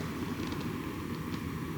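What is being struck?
Nothing is struck.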